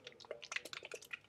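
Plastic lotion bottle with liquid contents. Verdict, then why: Runny. A plastic bottle of nectarine peach sorbet lotion is shaken, and its runny liquid contents slosh inside. The result is a quick series of short, bright, wet squishing clicks with no low end, the "juicy" sound of a lotion thin enough to pour out easily.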